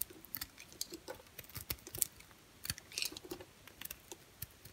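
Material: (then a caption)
Soap. An orange and cream striped bar soap is carved with a utility knife blade. A quiet, irregular series of short, crisp scraping clicks and flakes is heard, mostly bright with very little low end. Each cut dies away almost instantly.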